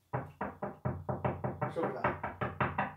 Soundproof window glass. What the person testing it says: 这声音根本就不是普通玻璃隔音系数绝对是很高